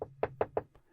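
Knuckles rap on a wooden closet door as a "knock on wood" gesture, giving a rapid series of short, dry, hollow knocks centered in the mid range. Three strong knocks stand out, followed by a fainter one, each cutting off almost instantly with no ring.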